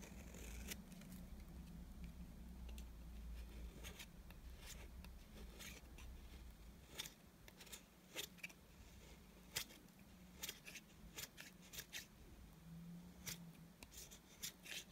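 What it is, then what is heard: Dry bar soap scraped with a blade. A small metal blade with a yellow handle scrapes along the face of a flat, rectangular, solid, cream-colored dry soap bar held in one hand, shaving off thin curls. Short, crisp, bright scraping strokes with a dry, crackly texture repeat at an uneven pace over a steady low hum.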